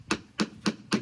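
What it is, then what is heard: Sound fiberglass hull. Four sharp taps on a sound spot of an old lobster boat's fiberglass hull give short, crisp knocks with a low tone around 215 Hz and very little ring. This solid area sounds sharper than the delaminated section nearby.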